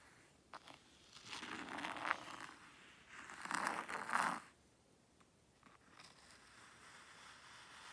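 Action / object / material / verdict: scrape / fine sand in a tray raked with a small wooden rake / sand / none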